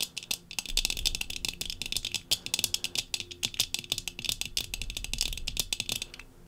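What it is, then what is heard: Tinted sunglasses lenses tapped with fingernails. Long fingernails of both hands tap rapidly on the brown tinted lenses of thin metal-frame sunglasses worn on the face. The result is a dense run of quick, bright, dry clicks with almost no ring, concentrated in the high frequencies around 3.5 kHz.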